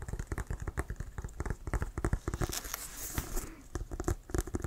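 Fingertips tap on a hollow, inflated brown leather Wilson American football, and nails scratch around its laces. A quick run of dull, low, thumping taps with almost no ring is broken midway by a softer stretch of bright, hissy scratching, before the tapping resumes.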